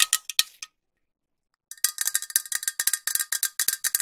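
A green metal aerosol spray can with a white cap is tapped with long nails. A few quick taps are followed by about a second of silence, then a fast, steady run of taps. Each tap is a short, bright metallic tick with a faint ringing tone that dies away almost at once.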